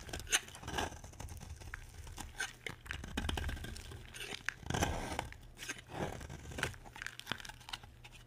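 A utility knife scrapes and shaves the edge of a solid, dry, peach-coloured bar of soap. The result is a run of dry, crunchy scraping and tearing strokes with bright, crisp crackle over a soft low rumble, and a few sharper shaving bursts stand out.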